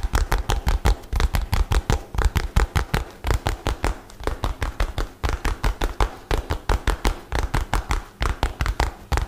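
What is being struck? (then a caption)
Rolled-up nylon bag. A light blue nylon bag, rolled into a tube, is scratched and tapped with fingernails in a fast, uneven run of about 46 short, dry taps. Each tap is a dull, low thump with a faint crinkly rustle of the nylon on top, and it dies away almost instantly.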